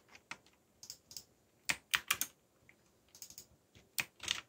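Fingertips type on a backlit mechanical keyboard with black plastic keycaps and a yellow backlight, producing 13 sharp, bright clicks in uneven bursts. Each click is crisp and dies away almost instantly, with very little low end, leaving quiet gaps between keystrokes.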